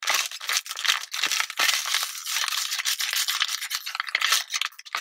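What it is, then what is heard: Plastic water bottle. A small, clear, thin plastic water bottle with a blue label, mostly empty and partly crushed, is held by the fingertips and squeezed and crinkled near the ear and in front of the chest. The crinkling is continuous and bright: dense crackles and snaps with almost no low end, steady in level throughout.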